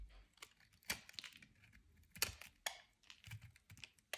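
A metal utility knife blade shaves and scrapes flakes off a soft, dry, solid brown bar of soap held in the hand. About a dozen crisp, dry scrapes and crackles are heard, each brief and bright with little low end.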